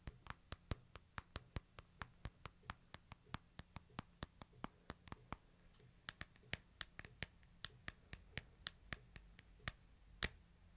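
Fingertips and short nails tap and trace along the glass screen, plastic/metal edge, sides and back of a small smartphone, making about 41 sharp, bright clicks with almost no ring. The taps come in a quick, fairly steady rhythm over a quiet background with a faint low hum.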